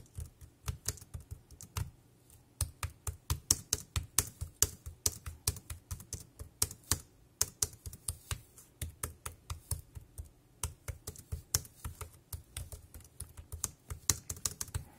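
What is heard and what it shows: A dark grey compact plastic wireless keyboard resting on a plastic sheet is typed on with fingertips, tapping its keys in a steady, rapid stream. Each keystroke is a short, dry click with a bright, high top and a soft low thump underneath, dying away almost instantly.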